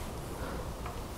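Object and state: Nothing is struck.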